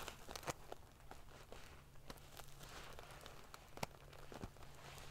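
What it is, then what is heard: Metal sequin pillow being scratched. Long painted fingernails scratch and ruffle a large decorative pillow covered in rows of small silver metal sequins sewn onto fabric. A quiet, continuous crinkly rustle is broken by sharp, bright clicks and ticks, over a faint steady low hum.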